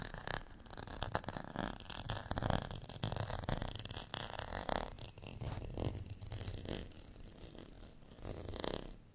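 Fingernails scratch the ridged edge and textured face of a small, solid, beige plastic rice paddle. The result is a dense, rasping scratch in uneven bursts, with a heavy low rumble under brighter crackle, running for about nine seconds.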